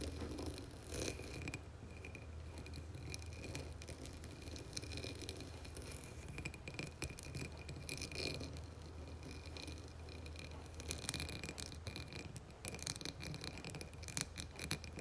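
Long nails tap and scratch the rim and textured sides of a dark blue embossed glass candle jar filled with wax. The result is a continuous run of quick, dry clicks and rasping scrapes with a bright, high edge over a steady low hum, with the tapping growing denser and sharper toward the end.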